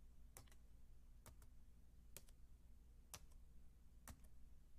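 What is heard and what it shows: Fingertips with long dark-painted nails type on a solid, white, low-profile Apple keyboard, about 28 cm wide, with plastic keys on a thin aluminium base. Short, bright, paired key clicks come at a slow, even pace over a steady low hum.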